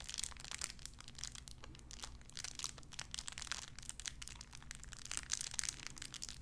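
A small clear plastic bag wrapped around a tiny white figurine is crinkled and squeezed between fingertips with long red nails. A dense run of quick, bright crackling and rustling sounds continues throughout, over a faint low hum.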